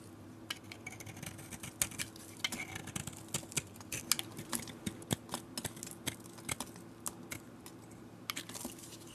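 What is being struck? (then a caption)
Bar soap cut with a metal blade. A metal utility blade carves a solid, galaxy-painted oval bar of soap, shaving flakes off its cream interior. The result is a quick, irregular series of short, crisp, bright scraping clicks with almost no ring, heard over a faint steady low hum.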